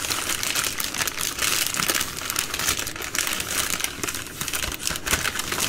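Long nails scratch and tap the soft plastic film and hard plastic flip lid of a single full 80-count baby wipes pack while it is held in the hand. The result is a continuous, bright, dense crinkling and scratching texture with quick, dry taps scattered throughout. There is little low end.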